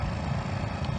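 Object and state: Nothing is struck.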